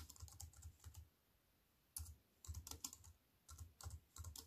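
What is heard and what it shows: A slim wireless keyboard with a silver aluminium frame and black plastic chiclet keys, resting on a wooden table, is typed on by fingertips with long white-painted nails. Quick bursts of crisp, bright key clicks with a soft low thud come in clusters, separated by short pauses.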